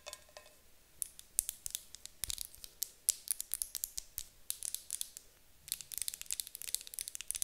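A medium white opaque glass candle jar with a gold lid, filled with wax, is held in both hands while long acrylic nails tap and scratch its glass sides. The result is a quiet, rapid series of sharp, bright clicks and light scratches with almost no low end and no lingering ring. A short, faint tonal trace sounds at the very start.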